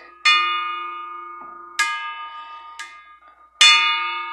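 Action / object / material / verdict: strike / small metal bell / metal / none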